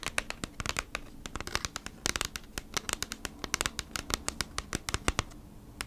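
Long nails rapidly tap and scratch across the front of a thin, hollow kraft cardboard Bee's Wrap package, held flat in both hands with its contents inside. The result is a quick, irregular stream of sharp, dry clicks and papery scrapes with bright high edges, each stopping dead with no ring, over a faint low hum.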